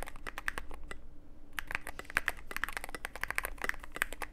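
Fingertips of both hands type continuously on a Cyberboard mechanical keyboard with plastic keycaps and a dark case. Rapid, sharp, bright clacks follow one another with a brief pause about a second in, over a steady low hum.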